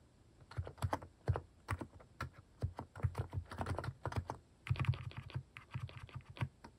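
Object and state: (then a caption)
Plastic mechanical keyboard being typed on. Fingertips type on a plastic mechanical keyboard fitted with cat-shaped plastic keycaps, producing a steady run of short, dry key presses. Each press lands as a quick clack with a low thump underneath and a bright click on top, arriving in uneven bursts with brief pauses.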